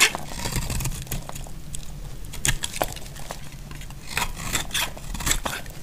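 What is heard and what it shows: A solid, dry pink bar of soap is held in the hand while chunks are sliced off its edges with a utility knife. The clip has a series of crisp, bright cutting snaps and short scrapes, each dying away almost instantly. A steady low rumble runs underneath.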